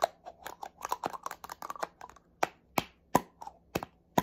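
Fingernails tap quickly on the body of a small black plastic spray bottle. It makes a fast, uneven run of about seventeen short, dry plastic clicks with a hollow tone near 1 kHz and bright edges. The taps come in a quick flurry at first and then spread out into louder, more spaced single taps.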